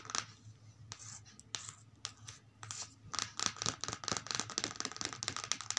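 Long multicolored acrylic nails tap and scratch the paper pages of an open, thin children's paperback lying flat on carpet. A quick, irregular run of crisp, bright clicks mixes with dry, scratchy strokes across the page. The sound stays quiet and mostly high, with very little low end and no ring after each tap.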